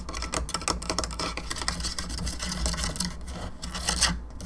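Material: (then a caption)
Plastic. Long fingernails tap rapidly across the sides and jaw area of a hollow plastic skull candelabra lamp, making a dense run of light, clicky taps with a bright, raspy edge. A steady low hum sits underneath throughout.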